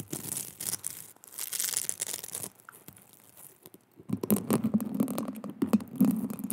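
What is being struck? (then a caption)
Plastic mesh hair roller. Long nails scratch along the ribbed surface of a small pink plastic mesh hair roller, a hollow cylinder. Bright, hissy rasping comes in uneven bursts, fades to quiet for a moment, then returns louder with a low buzzing tone under the rapid, irregular scratches.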